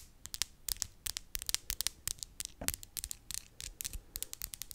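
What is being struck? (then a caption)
Acrylic press-on fingernails. Long clear-and-glitter acrylic press-on nails on both hands are tapped and clicked tip against tip in front of a microphone. Rapid, irregular, bright clicks sound in quick succession, each dying away almost instantly over a faint hiss.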